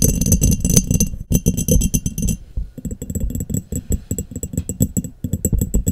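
Long nails rapidly tap the bottom and sides of an embossed, clear, hollow, empty glass mason jar that is turned upside down over a microphone. The taps give dense, hollow low thumps with bright glassy clinks that die out almost at once. There is a brief pause partway through before the tapping resumes.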